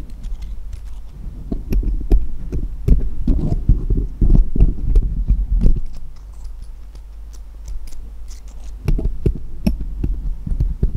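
Small solid steel jeweller's screwdrivers rest on cloth while fingertips tap one screwdriver against the others, metal on metal. Quick, irregular taps give short bright clicks over dull low thumps and a steady low hum. The tapping goes quiet in the middle, then picks up again near the end.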